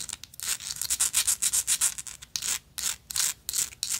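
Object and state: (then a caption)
Textured metal lighter. Long nails scratch quickly back and forth over a gold metal lighter with an engraved texture. The result is a rapid, uneven run of bright, hissy scraping strokes with almost no low end, broken by a few short pauses.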